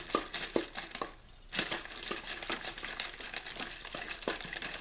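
An empty, hollow clear plastic water bottle with a blue label is squeezed and crinkled in one hand. It makes bright, dry crackling and crinkling with sharp snaps. A brief quiet pause falls in the middle, then a steady run of crinkles.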